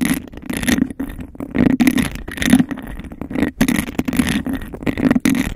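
Long acrylic nails rapidly scratch the sides and tap the base of an empty, hollow clear glass cup with a raised bubble texture, held over the mic. The result is fast, aggressive bursts of hollow, boxy scraping centred low-mid with a bright rasp, broken by quick taps and short gaps.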